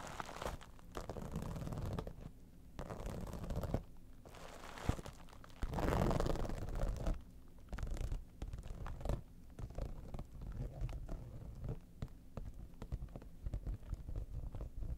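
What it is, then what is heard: Vinyl cosmetic bag being scratched. Long nails scratch the top surface and front edge of an iridescent, textured holographic vinyl cosmetic pouch, making rough, crinkly scraping strokes. The sound is mostly low and muffled, coming in bursts and sweeps, with a louder stretch around the middle.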